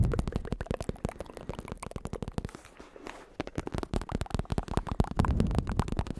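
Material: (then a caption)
Synthetic leather. Fingertips tap rapidly on a black bicycle saddle held in one hand, with a smooth synthetic leather cover, red trim, and a padded top over a plastic shell. The taps are soft, dull and low-pitched thumps with almost no ring. They ease into a quieter stretch midway, then pick up again and grow louder toward the end.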